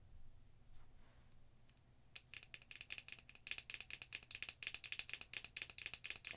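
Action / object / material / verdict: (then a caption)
tap / small glass jar with plastic lid / glass / none. A small dark green glass "Bali Balm" cosmetic jar with a black lid is tapped and scratched on its lid and sides by long acrylic nails. After a quiet, faintly rustling start, about two seconds in, a fast run of short, bright, rattly clicks begins. The clicks grow denser and louder toward the end.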